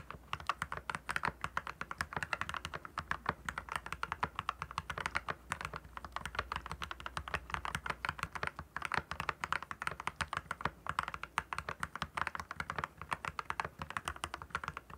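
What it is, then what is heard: Mechanical keyboard being typed on. Fingertips of both hands type steadily on a compact backlit mechanical keyboard with clear plastic keycaps. Rapid, crisp clicky keystrokes with a bright plastic clack centered around 1.2 kHz die away almost instantly. A faint low hum sits underneath throughout.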